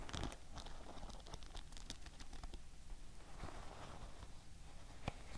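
Long nails tap and scratch the wooden back and wooden pins of a wooden paddle hair brush. The result is a steady run of quiet, crisp clicks and rough scratching with bright, brief transients over a soft low rumble.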